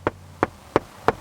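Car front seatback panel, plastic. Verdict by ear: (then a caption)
Hard. Four sharp, hollow knocks on the hard plastic back panel of a front seat in a 2019 Hyundai Santa Fe, next to the leather, each dying away almost instantly. The seatback is hard plastic rather than padded or leather-covered.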